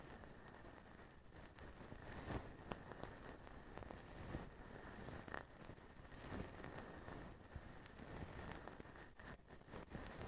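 Fingertips rake and scratch through the fine plastic strands of a blue plastic feather duster on a white plastic handle, held upright. The result is a quiet, dense, crackly rustling with scattered sharper scratches over a low rumble and a faint steady tone near 2 kHz.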